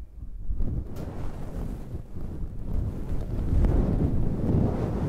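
Long red nails and fingertips scratch a fluffy synthetic faux-fur windscreen on a handheld black recorder. The result is a dense, muffled, low rumbling rustle with almost no high end, steady throughout and growing slightly louder toward the end.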